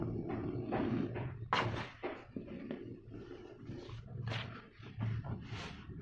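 Fingertips and nails rub and scratch the surface of a flattened mound of loose dry cement powder in a plastic basin. A dry, gritty scraping comes in bursts, with a low hum underneath and brief bright, sharp scratches on top.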